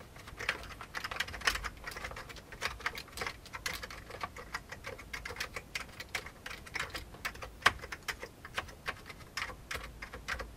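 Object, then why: Plastic computer keyboard. Fingertips of both hands type steadily on a full-size old beige plastic computer keyboard with a hollow plastic case. The result is a continuous stream of quick, dry, bright clacks with very short decay and little low end, with an occasional sharper, louder keystroke standing out.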